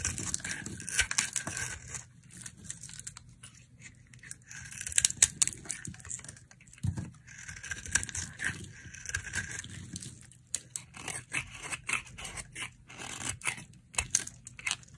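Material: Soap.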